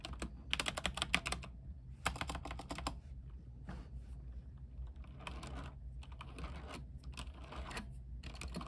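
Fingertips of both hands type continuously on a mechanical keyboard with white plastic keycaps on a silver frame, lit with RGB lighting. Quick bursts of crisp, bright clacks come in clusters separated by short, quieter stretches, each keystroke dying away almost instantly. A steady low hum sits underneath the whole clip.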